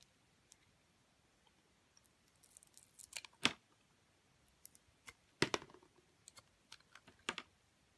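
A metal utility blade cuts into a solid bar of soap held in the hand, peeling away its grey coating to reveal the white core. Quiet, crisp scraping and clicking come in short, irregular bursts with a bright, dry edge and almost no ring, separated by near-silence.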